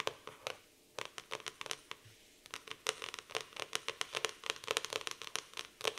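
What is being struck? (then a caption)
Laminated cardboard notebook cover. Long nails tap and scratch the laminated cardboard cover of a black floral hardcover notebook. Quick, dry, bright clicks come in an irregular run, with short scratchy strokes between them and a brief lull near the two-second mark. Each tap dies away almost instantly, with no low-end weight.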